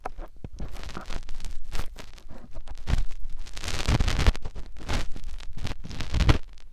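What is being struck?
Silicone microphone ear.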